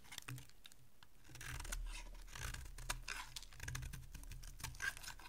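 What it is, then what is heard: Bar soap being carved. A solid oval bar of dry white soap, held in one hand, is shaved and carved with a small metal blade, with soap flakes curling off onto a pile of shavings below. Quiet, dry scraping and crisp ticking cuts come in quick irregular bursts, with brief brighter scratches over a low steady background hum.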